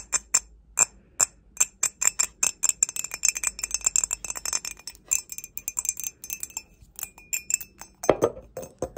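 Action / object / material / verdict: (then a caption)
tap / glazed ceramic mug / ceramic / none. An empty grey glazed ceramic mug, held upside down, is tapped with long nails in a quick, irregular series of dozens of light clicks. Each tap gives a bright, high ringing tone that dies away almost at once. A louder, fuller knock sounds near the end.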